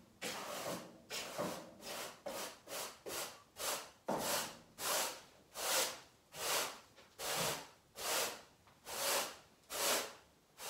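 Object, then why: Pile carpet swept with a stiff-bristled brush. A long-handled stiff garden brush sweeps a large brown pile carpet covering a living-room floor and littered with small debris, its bristles rubbed back and forth. Each stroke is a bright, hissing scrub, repeated in a steady rhythm of distinct bursts that grow longer and slower toward the end.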